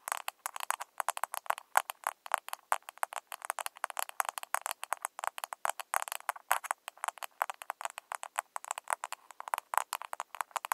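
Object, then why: Small plastic blush compact case. Long nails on both hands tap rapidly on the lid of a small round pink plastic blush compact, a hollow case with a lid. A steady stream of sharp, dry clicks comes and goes in quick flurries, each tap hollow and mid-pitched with no low end. Every tap stops almost instantly.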